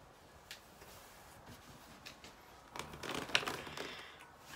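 Fingernails tap and scratch a small clear plastic drinking water bottle with a white cap and label, apparently still holding water, as it is held in the hands. A few faint, sparse ticks give way to a louder, dense burst of bright crinkly scratching with one sharp click, which then fades back down.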